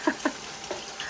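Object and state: Nothing is struck.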